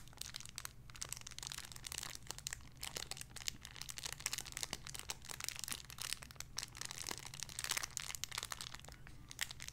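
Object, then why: Thin clear plastic bag with a soft squishy toy inside. A small clear plastic bag holding a pink pig squishy toy is crinkled and squeezed with fingertips and long nails. Dense, bright crackling and sharp crinkles fill the clip over a faint, steady low hum.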